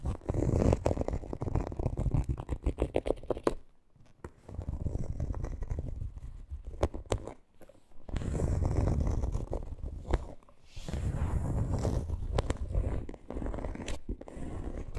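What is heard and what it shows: Long green nails scratch and tap across the front panel and pocket seam of a coated canvas monogram handbag. A dense, irregular run of dry, low-heavy scratching and quick taps comes in bursts, with brief quiet gaps around 4, 7.5 and 10.5 seconds.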